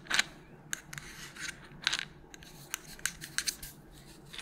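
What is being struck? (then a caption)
Small plastic pill bottle with tablets. A small white plastic melatonin bottle with a purple cap, hollow with tablets inside, is tapped with long nails while being moved around. Short, bright clicks and taps come in irregular bursts over a faint hiss, with a few soft rubbing sounds between them.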